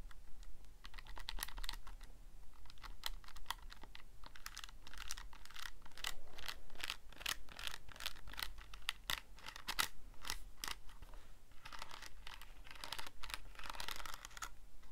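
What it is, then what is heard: Plastic calculator buttons being pressed. Fingertips press and tap the plastic buttons on a Casio calculator keypad, close up. A steady stream of short, dry, bright clicks runs for the whole clip, each tap centred near 2 kHz. The clicks sit over a constant low hum.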